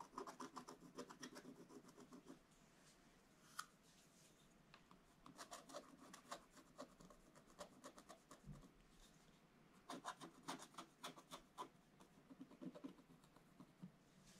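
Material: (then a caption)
Coated paper. A wooden stylus scratches lines and fills into a black-coated scratch-art paper page lying flat in an open book. Quiet bursts of rapid, dry, raspy strokes with bright edges alternate with softer pauses, and a single sharp tick stands out early on.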